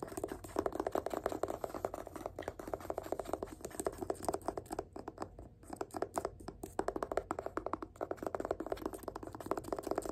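A fingertip taps quickly along the spine of a yellow paperback book, The Power of Habit, held in one hand while the other hand does the tapping. The result is a fast, steady stream of dry, short, muted taps centered in the mid-range, with little low or high content and a brief lull partway through.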